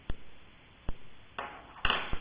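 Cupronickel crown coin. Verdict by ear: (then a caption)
Not silver. A cupronickel crown coin is tapped five times in a ping test, each tap giving a brief, dull metallic tick with a faint high ping near 2.8 kHz that dies away within about a fifth of a second. The very short note marks the coin as cupronickel, not solid silver.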